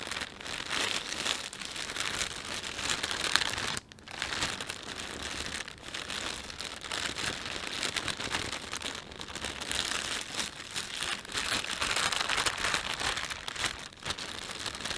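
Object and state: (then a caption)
Plastic shopping bag crinkled. Fingers rub and pinch the thin film of an empty plastic panda shopping bag, making a steady, dense crinkle. The crackling is bright and high, with almost no low end, and it pauses briefly near the four-second mark before continuing at an even level to the end.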